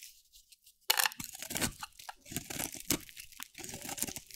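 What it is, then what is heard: Dry soap bar being carved. A metal blade carves and scrapes curls off a hand-held bar of dry soap, solid cream-white with a teal outer layer. After near silence, a sharp, bright crunch begins just before one second, followed by irregular bursts of crisp, tearing scraping that continue to the end.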